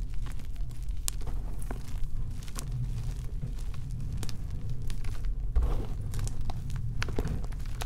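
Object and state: Gym chalk blocks being crushed by hand.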